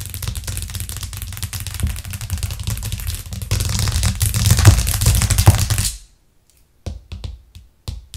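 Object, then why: Thin plastic cutting board. A thin, solid white plastic cutting board with a green rim, lying flat on a cork coaster, is tapped rapidly by long acrylic nails. The sound is a dense, low-heavy clatter of quick clicks with a bright edge. It grows louder around halfway, stops abruptly at about six seconds, and a few scattered taps follow.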